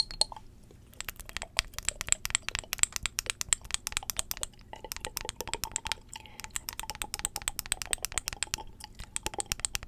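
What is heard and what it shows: Long acrylic nails tap quickly on a small glass perfume bottle filled with amber liquid, held in both hands. The result is a rapid, nearly continuous stream of sharp, bright clicks with almost no ring, broken only by brief pauses.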